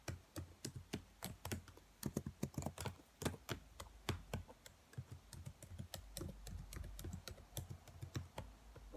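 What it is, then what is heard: Plastic laptop keyboard. Long white nails and fingertips tap on the black plastic keys of a laptop keyboard, striking the hollow key caps. About 36 short, sharp clicks with dull low thuds come in an uneven, typing-like rhythm over nine seconds. Each one dies away almost instantly over a faint low hum.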